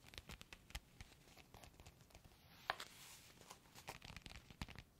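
A flat, sealed, clear plastic foot-mask sachet with a printed card inside is held in both hands and crinkled and rubbed with the fingertips and nails. It makes quiet, dry crinkling with a steady stream of short crackles and taps, and one sharper, brighter snap partway through.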